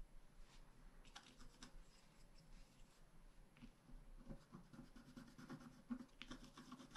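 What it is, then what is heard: Scratch art card being scratched. A wooden stylus scratches and rubs across the flower area of a thin, flat, black-coated scratch art card lying on a table. Soft, irregular scratchy strokes come in quick, uneven bursts, with faint bright streaks over a low, dull rustle. The scraping stays quiet and steady throughout.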